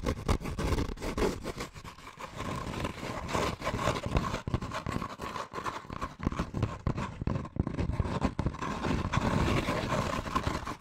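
Fingertips and medium-length painted nails scratch and rub the textured surface of a hollow, empty brown kraft paper bag held upright in both hands, in fast strokes. The result is a dense, continuous crackling scrape with a heavy low rumble, a steady papery band around 1 kHz, and many quick, uneven bursts throughout.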